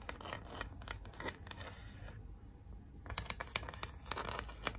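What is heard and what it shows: Long acrylic nails scratch across a large, flat pink cardboard "Be Mine" heart sign with glitter lettering, making quick, dry, gritty scrapes in an uneven rhythm. The scratching pauses briefly, then resumes with sharper strokes, and ends with a hand rubbing the sign flat-palmed.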